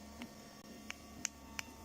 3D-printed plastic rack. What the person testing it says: it's a dull thud that's what happens when it's soft so you can tell when it's soft but just by the sound of it